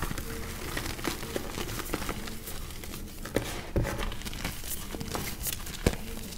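Bare hands squeeze, press and crumble dry white chunks of reformed cornstarch gym chalk between fingers and palms over a pile of loose powder, rubbing them into powder. A steady soft crinkling crunch runs throughout, with occasional sharper snaps as the chunks break apart.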